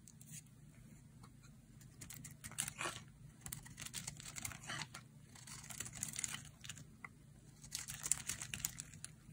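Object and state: Dry bar soap being carved.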